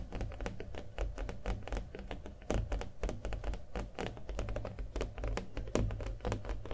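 A small stretched canvas with a hollow frame and a thick coat of acrylic paint is held and tapped with fingernails. The rapid, uneven taps give short, dull, hollow thuds with a quick clicky edge and little ring.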